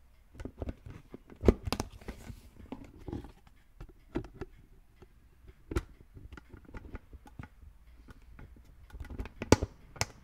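A hollow green plastic brain-shaped lid on a red plastic skull container is lightly tapped and scratched with fingertips. Quiet scratching and rustling run throughout, broken by short, dry, dull taps with a low hollow body that stop almost instantly.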